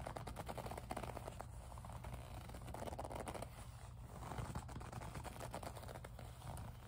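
Long nails squeeze, rub and scratch the surface of a small, hollow pink faux leather zip pouch. The result is a steady, soft run of scratchy rubbing and crackly ticks over a low, muffled background, with no pauses.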